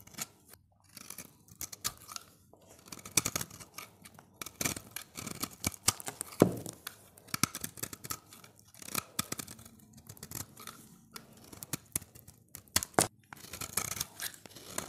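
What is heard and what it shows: A solid, dry, oval orange bar of soap held in the hand has its surface scraped and shaved with a utility knife blade. The result is a long run of quick, crisp, bright scraping strokes, each with a short rasp and no ring, with brief pauses between bursts.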